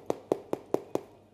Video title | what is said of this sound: LE PLUS GRAND MARCHÉ DU MONDE (Rungis) | là ça va et puis là ça sonne le creux